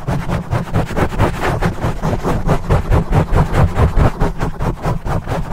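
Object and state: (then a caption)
Foam microphone windscreen. Fingertips rapidly scratch and rub a black foam microphone windscreen. The result is a continuous, rhythmic, muffled rumbling and scuffing, heavy in the low end, pulsing in fast uneven bursts with short breathy swishes on top.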